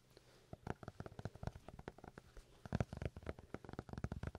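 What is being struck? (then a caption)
Paper notebook. A paper notebook is tapped in quick, irregular bursts, giving short, dull, low-pitched knocks with almost no ring. The taps cluster and overlap, rising and falling in loudness over a quiet background.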